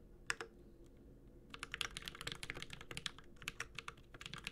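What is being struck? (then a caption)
Mechanical keyboard, aluminium case with plastic keycaps. A Space65 Cybervoyager 65% mechanical keyboard with an aluminum case, plastic keycaps and Holy Panda switches is typed with the fingertips of both hands. Two quick taps are followed by a short pause, then a steady run of about two dozen sharp, bright key clacks. Each clack is short and dry, with a slight low thock under it.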